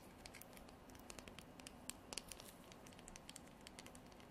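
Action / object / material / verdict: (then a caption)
scrape / horn comb / horn / none. Long nails scratch along the teeth and spine of a translucent amber comb, probably horn, with a dark edge. Quiet, irregular bright clicks and scratchy ticks patter rapidly over a soft, steady hiss, with a few sharper crisp snaps standing out.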